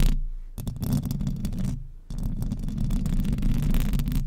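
Long acrylic nails scratch all over the hollow metal mesh grille of a silver microphone with both hands. The result is a dense, low, rumbling scrape with rapid crackly ticks. It comes in two bursts separated by a brief lull near the two-second mark.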